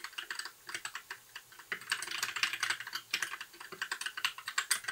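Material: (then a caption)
Plastic. Fingertips of both hands type continuously on a compact white 60% mechanical keyboard with plastic keycaps and RGB backlight. Its bright, dry plastic clacks die away almost instantly and carry almost no low end. The uneven run of key presses thickens into a denser, louder flurry midway before settling back into spaced taps.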